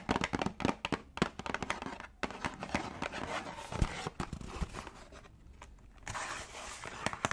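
A small yellow printed cardboard tea box, hollow with contents inside, is held and tapped with long dark nails. Quick, sharp, dry clicks come in rapid clusters with a papery crinkle and a faint rattle underneath, easing briefly before a denser burst of scratchy tapping near the end.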